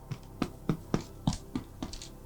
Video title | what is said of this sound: Breaded Kebab Roll & Salad | The way to know that bread is done is you get a hollow sound